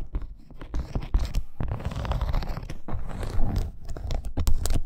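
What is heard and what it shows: Long acrylic nails scratch quickly across a dark red, snake-embossed faux leather wrist bracer with grommets and studs. The result is a dense, uneven run of crunchy, papery scrapes and small taps with a low, muffled body. Bright crackly flicks punctuate the scratching at irregular moments.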